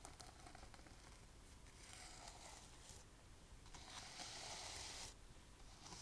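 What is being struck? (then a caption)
Sequin fabric pouch. Long nails scratch and brush across a gold sequin fabric pouch held up close, flipping the sequins. The result is a quiet, continuous bright rustling and scratching with a low rumble underneath, swelling into a louder, brighter hiss for about a second before easing off again.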